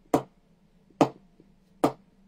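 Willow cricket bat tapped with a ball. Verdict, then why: Good ping. A butterfly willow cricket bat, soft and well pressed, is tapped with a ball across the blade to show its ping. Three sharp, bright knocks ring out with a short, lively rebound as the ball jumps off the blade, showing the good ping of a soft bat.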